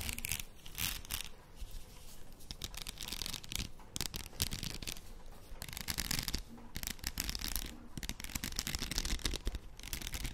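A padded plastic faux pearl headband is held in both hands close to the microphone while long nails scratch along its rows of beads. The result is a continuous, dense stream of bright, raspy clicks and scratches over a low, rumbling handling noise, with small swells and dips in intensity throughout.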